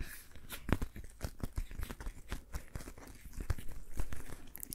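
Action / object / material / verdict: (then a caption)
tap / rubber dish glove on a hand / rubber / none. A patterned rubber dish glove worn on one hand has its gloved fingers rubbed and tapped by the fingertips of the other hand. The result is a quiet, continuous run of squeaky, crinkling rubber friction broken by many short, dry taps and sharp clicks, each dying away almost instantly.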